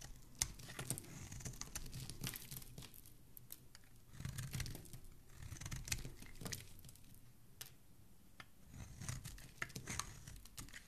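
A solid green bar of soap, held in the fingers, is carved with a dark metal blade, and the scraping peels off strips of soap. Quiet, crisp scraping and crinkly crackles come in bursts, with sharp bright ticks over a soft low rumble.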